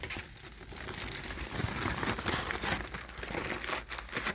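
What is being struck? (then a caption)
Aluminum foil sheets. Fingertips and nails crumple a flat pile of crinkled, thin aluminum foil sheets, then rub them flat. The result is a dense, continuous crinkling and rustling with bright, crackly highs and irregular louder crunches throughout.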